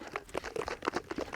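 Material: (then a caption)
Cream. A tightly lidded jar of cream is shaken vigorously to churn butter, producing a quick run of wet, rhythmic sloshing bursts in the midrange with little low end. The sloshing shows the contents are still liquid cream.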